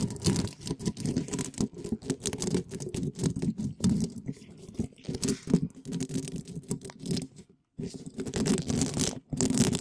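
Small yellow and red spiky plastic balls, held in gloved fingers, are scratched and brushed quickly across a hollow black metal mesh microphone grille. The result is a dense, continuous run of rapid scratchy rustling with a heavy, boomy low body and fizzy high edges. There are only brief gaps near the end.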